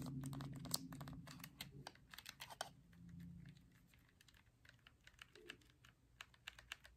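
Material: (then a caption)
Plastic. Fingertips tap the hollow white-and-black plastic of a Nintendo Switch held in a Joy-Con grip and press its buttons and thumbsticks, producing quick, uneven clicky tapping like typing. A low hum sits under the first few seconds before the taps continue more sparsely.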